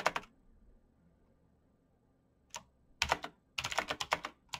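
Fingertips in fingerless knit gloves type fast on a black plastic mechanical gaming keyboard with clicky green switches, backlit keys and a hollow case. Two quick bright clicks open the clip, then a long quiet pause, a single tap, and a rapid run of sharp clacky keystrokes, eleven in all, each dying away almost at once.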